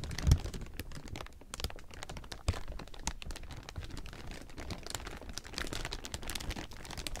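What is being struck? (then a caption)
Thin clear plastic film. A large heap of thin, clear plastic film is rubbed and squeezed by hand, producing a dense, continuous crinkle of rapid, sharp crackles across a wide range. The crackles run steadily for the whole clip at a fairly even level, with a couple of louder pops near the start and midway through.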